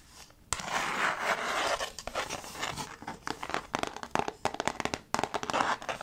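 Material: Slate board.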